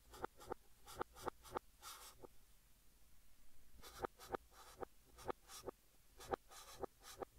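Fingertips hold a blue chalk stick and write text across a large, flat green chalkboard. Quick, sharp scratching strokes tap and squeak with a bright edge, broken by longer hissing drags and a quieter pause near the middle before the strokes resume.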